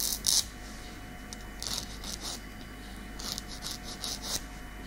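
A long natural keratin fingernail is filed with a light grey nail file, giving fine rasping scratches. The short strokes come in separate bursts of bright, high hiss over a low, steady background hum.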